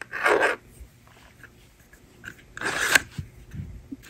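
A handheld plastic toy magnetic drawing board has its plastic eraser slider clicked and slid while the stylus writes numbers on it. Two separate bright, raspy scraping bursts are heard, each about half a second long. Faint soft taps and rubbing fill the quiet between them.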